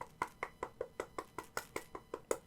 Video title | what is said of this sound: 2mm vs 4mm WWE WHC Big Gold - WWE Shop's false advertising | they sound quite a bit differently